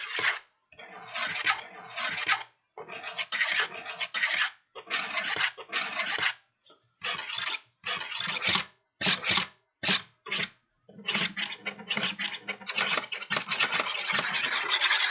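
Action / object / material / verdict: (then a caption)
scrape / kraft paper bag / paper / none. An empty, hollow kraft paper bag with blue print, held upright, is scratched with a small tool or fingernails. Bursts of dry, bright, papery scratching come in irregular strokes separated by short silences, then merge into a steadier, continuous rasp toward the end.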